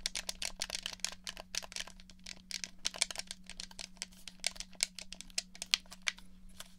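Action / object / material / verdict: tap / plastic game controller / plastic / none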